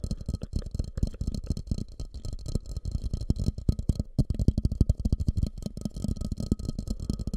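A medium fluted, glossy orange ceramic bowl, hollow and empty, sits upside down over the mic while fingertips tap and scratch on it. The sound is a fast, continuous run of dull, low thumps with almost no ring, plus a faint steady high tone in the background.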